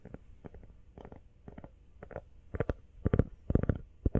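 Fingernails tap quickly on the back and sides of an empty teal rubber iPhone case. The taps come as dull, muffled clicks in uneven little bursts, deep with almost no high end, and they grow louder toward the end.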